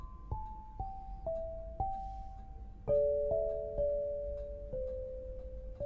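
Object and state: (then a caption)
Granite lithophone. An 8-bar lithophone of solid black granite slabs on a low frame, tuned to 432 Hz, is struck with two soft-headed mallets to play a slow melody. Each strike gives a clear, pure mid-range tone that rings and sustains, and the notes overlap as they gradually fade.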